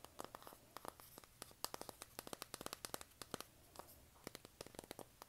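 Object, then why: Cardboard eyeshadow palette. Long nails scratch across the cover of a flat, hand-sized, pink printed cardboard eyeshadow palette. It produces a quick, irregular run of sharp, dry scratching clicks with bright high-frequency edges. Each click is brief and dies away almost at once, with no ringing.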